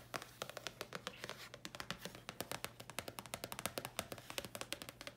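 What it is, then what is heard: Thin paper card tapped with nails. A thin red paper card, held and slightly bent, is tapped and scratched with long nails. The result is a rapid run of crisp, dry, bright clicks with very little ring, mixed with soft scratching over a faint low hum.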